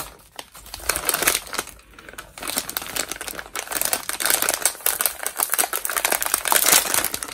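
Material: Metallized plastic.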